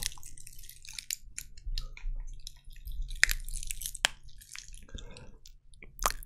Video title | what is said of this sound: ✨ASMR - Devine l'objet derrière chaque DÉCLENCHEUR 👂❤️ (Devine le Trigger) | j'adore le bruit que ça fait quand ça craquelle, c'est génial, ça fait penser à un feu de cheminée